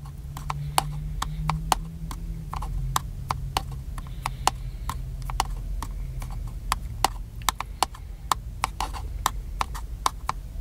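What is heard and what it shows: Fingertips tap the top of a small, black, hollow plastic handheld camcorder held in one hand. A steady, irregular run of sharp, dry clicks, each dying away almost instantly with a hollow mid-pitched tone and bright edge, sits over a low, constant hum.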